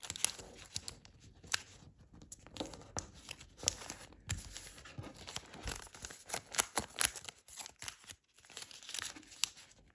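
A multi-layer folded origami paper crane base rests on a wooden table while its flaps are pressed and creased by fingertips. The result is a steady run of bright, crisp crinkles and brief papery snaps with short pauses between them.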